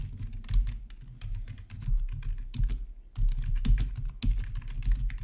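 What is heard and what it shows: Both hands type with their fingertips on a black plastic, backlit RGB gaming keyboard. A steady run of quick key taps comes through, with a deep, thumpy low end under short bright clicks. The bursts rise and fall with the typing, with a brief lull just past the three-second mark.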